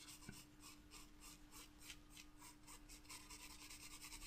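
A wooden graphite pencil scratches and shades a loose paper sheet lying on top of a flat spiral paper sketchbook. Quick, repeated strokes make a soft, bright, papery rasp that pulses in a steady rhythm over a faint constant low hum.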